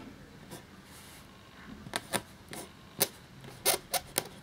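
A black feather quill nib scratches across a thin cream parchment-style paper sheet lying flat while writing. Eight short, dry, bright scratching strokes stand out over a faint hiss, each dying away almost instantly.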